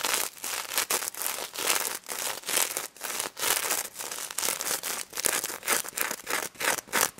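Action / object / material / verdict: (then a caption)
scrape / plush toy covered in plastic sequins / plastic sequins / none. Long red nails scratch and flip rows of plastic sequins on a pink sequin-covered stuffed plush pig toy, close up. Many short bright, crinkly rasps follow in quick bursts with sharp gaps, with almost no low end and no ringing after each stroke.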